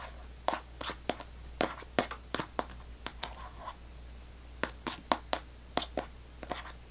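A small Extra gum pack, a paperboard box still sealed in clear plastic film, is held in one hand and tapped and scratched with long fingernails. About eighteen short, separate crinkly clicks and scratches are heard, each bright and quickly damped, over a faint steady low hum.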